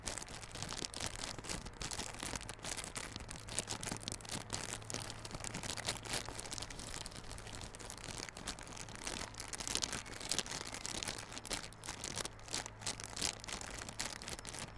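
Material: Plastic film.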